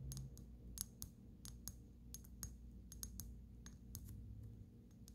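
A small brown amber glass dropper bottle with a black dropper cap and paper label, partly filled with liquid, is held up close and tapped with long natural fingernails on its glass sides and neck. The result is a quick series of sharp, bright, dry clicks that die away almost instantly, sitting over a steady low background hum.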